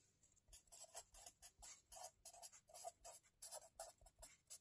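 A hand writes steadily with a felt-tip marker on the lined paper pages of a spiral-bound notebook resting on a table, scratching the tip across the paper. A quiet, rapid series of short, dry, bright scratchy strokes with a slight midrange body follows, each one fading almost instantly.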